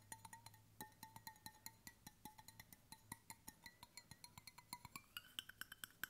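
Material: Stainless steel.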